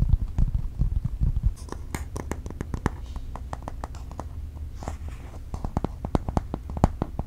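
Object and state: Aluminum tablet back.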